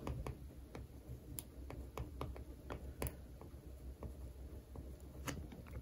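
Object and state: Paperback textbook cover scratched and traced with a pen.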